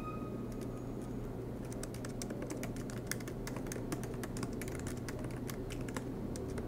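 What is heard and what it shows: Both hands type continuously with their fingertips on a silver MacBook Pro laptop, tapping its low-profile black plastic keys set in an aluminium body, with the laptop resting on a desk mat. A quiet, rapid run of short, soft clicks plays over a steady low hum, with a faint steady tone near the start.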